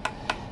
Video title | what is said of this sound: Kenapa Indonesia Nggak Ada DJI Refresh Care? - DJI Avata 2 - Cinematic - D Log M - DJI Indonesia | sentil-sentil itu dia mirip sih kopong dia ya Enggak enggak Padat kayak yang generasi pertama